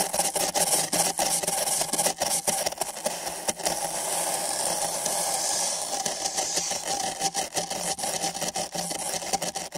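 Nylon bristle brushes on sticks rub and scratch back and forth across two identical empty printed paper cups fitted over microphone ears. The result is a bright, dry, papery scratching with quick strokes that blend into a steadier rasp midway through before breaking up into short strokes again.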